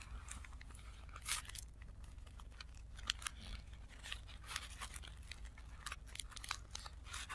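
A stack of thin blue tissue paper sheets lying on a dark cloth is folded and rubbed along its creased bottom edge by fingertips, with the sound played in reverse. Quiet, bright crinkling and crackling comes in short, sharp bursts over a steady low hum.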